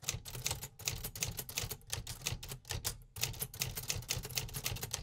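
Fingertips type on the keys of a large, hollow, beige 1950s metal typewriter, producing a steady run of sharp, bright typebar clacks over a low hollow body thump. The rhythm pauses briefly near the three-second mark before resuming at the same pace.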